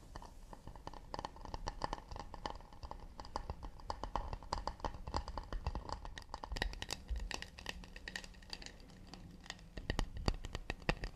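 A wooden plate made of acacia is tapped quickly and delicately with the fingertips. The result is a dense, steady stream of short, dry taps with a soft low body and occasional brighter clicks, dying away almost instantly with no ring.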